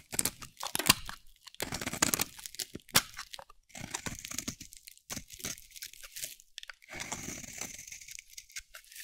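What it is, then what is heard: Dry soap bar. A dry, solid pink soap bar held in the hand is shaved with a metal utility blade, giving bursts of crunchy, crackling scraping. The sound is bright and dry, with little low end, and comes in quick strokes separated by short pauses.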